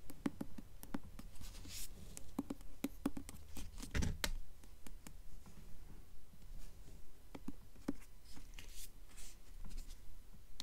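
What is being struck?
Hardcover book with paper dust jacket.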